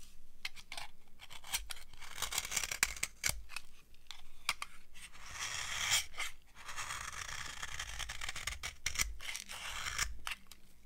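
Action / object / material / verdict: scrape / soap bar carved with a metal blade / soap / none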